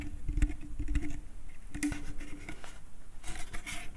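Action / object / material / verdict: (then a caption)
tap / small wooden bucket / wood / none. Fingertips tap the outside of a small, empty, hollow wooden bucket, making soft, low, hollow knocks that die away almost at once. Nails then scratch across the inside bottom, giving a dry, bright scraping patter.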